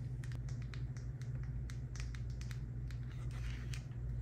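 A hand-sized, hollow, partly filled white plastic La Roche-Posay face moisturizer squeeze tube is held in the hand and tapped and scratched with long acrylic nails. Quick, crisp clicking taps and light scratches sound over a steady low hum.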